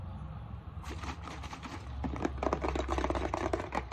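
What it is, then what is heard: Plastic bottle. Fingernails tap the side and base of a translucent plastic isopropyl alcohol bottle held up in the air. The result is a fast, irregular stream of light, dry clicks over a steady low hum, growing louder and denser in the second half.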